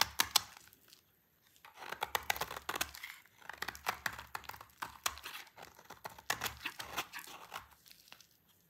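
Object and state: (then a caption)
Dry soap bar. A solid bar of dry orange soap, held in the hand, is scraped with a yellow-handled utility knife, curling off thin shavings. The scraping produces a bright, dry crackling and tearing texture with many quick crisp strokes, a brief pause near the start, then steady repeated scraping to the end.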